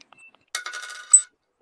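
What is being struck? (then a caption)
One-cent coin. A 1983 one-cent coin is dropped onto a table as a ping test to tell copper from zinc. It gives a bright, high metallic ring that rattles and fades, followed by a short, sharp high ping as it settles. It is not stated whether this coin is copper or zinc.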